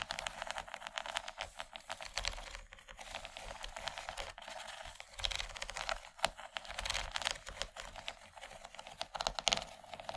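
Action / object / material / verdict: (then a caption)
tap / plastic tray / plastic / none. Long nails tap and scratch across the textured ridges of a large, empty yellow plastic tray. The result is a dense, uneven stream of quick, dry clicks and bright scratchy rasps, with almost no low end and no ring after each tap.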